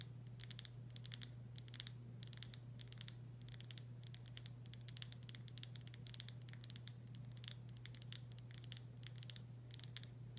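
Long nails tap and scratch the body of a full glass pickle jar with a paper label. A fast, continuous run of bright, crisp clicks and scratches plays over a steady low hum, with each tap dying away almost instantly.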